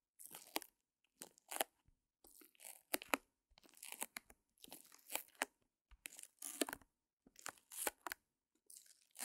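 Long nails scratch the back of a small canvas, showing its wooden frame and folded mini easel, all under clear plastic wrap. Short bursts of dry, crinkly scratching and crunching come in quick clusters separated by brief silences. The sound is quiet but bright, with sharp accents that stop almost instantly.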